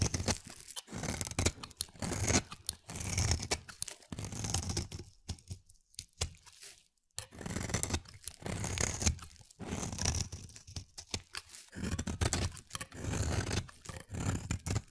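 A palm-sized solid blue oval bar of soap is held in the hand and carved with a utility-knife blade, peeling off stringy flakes. Repeated close, crisp scraping and tearing cuts run through the clip, with a short quiet pause in the middle.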